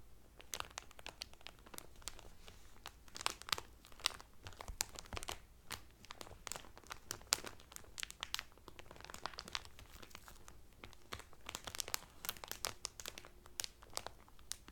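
Fingertips and medium painted nails press and crinkle the loose, thin clear cellophane wrap sealing a folded blue terry Carnival towel lying flat on a table. Dense, bright crackles and sharp, quick snaps come in steady irregular bursts throughout, each dying away almost instantly, over a faint low background.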